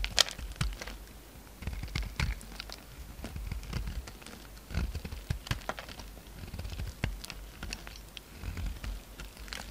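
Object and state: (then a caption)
Soap bar being carved. A utility knife blade carves and scrapes the edges of a solid, palm-sized pink soap bar into flakes. The result is a run of short, dry crackling scrapes and crunches with bright high edges over a low rumble, each cut dying away almost at once.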